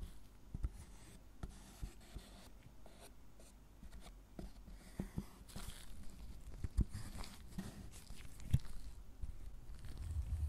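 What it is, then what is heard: Milk chocolate bar being carved. A gloved hand scrapes and carves lines into the squares of a solid milk chocolate tablet resting on a wooden board, using a small metal spoon-tip carving tool that raises shavings. Quiet, low, grainy scraping runs throughout, broken by scattered sharp little ticks and clicks at an irregular pace. The scraping grows slightly louder toward the end.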